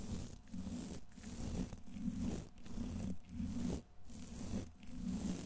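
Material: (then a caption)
Steel mesh. A thin paintbrush's bristles brush and scratch the hollow, rounded steel wire-mesh head of a large condenser microphone. Dense, close scratchy rustling fills the clip in strokes broken by brief dips, with a heavy low-frequency rumble underneath.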